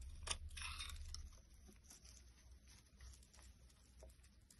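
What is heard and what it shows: A box cutter blade shaves flakes off a solid white vegetable bar soap stamped "100% vegetable" that is held in the hand. Crisp, bright scraping and crunching strokes come loudest in the first second, then continue as quieter, uneven cuts over a steady low hum.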